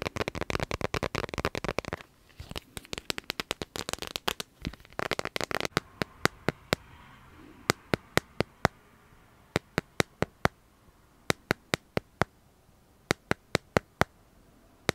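Fingernails tap the back of a smartphone held upright in a clear plastic dragon-print case. Dense, rapid bursts of sharp, dry clicks fill the first six seconds, broken by short pauses. The tapping then thins to single, bright taps spaced out over quiet gaps.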